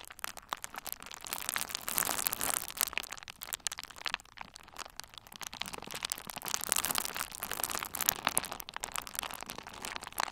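A hand-sized bundle of pink and red plastic bubble wrap with hollow, air-filled bubbles is squeezed and pressed between the fingertips of both hands. It makes dense, bright crinkling with a rapid stream of small pops and crackles. The sound stays steady for the whole clip, with almost no low end.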